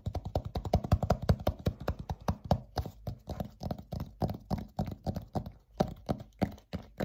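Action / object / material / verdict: tap / thin dry-erase whiteboard panel / laminate board / none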